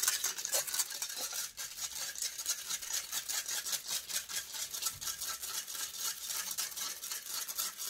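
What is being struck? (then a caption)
Metal wire-mesh microphone grille. Long grey acrylic nails scratch rapidly and aggressively across the hollow, rounded metal wire-mesh grille of a silver Blue Yeti-style USB microphone. The result is a dense, continuous stream of bright, rasping scrapes concentrated almost entirely in the high range, with almost no low end.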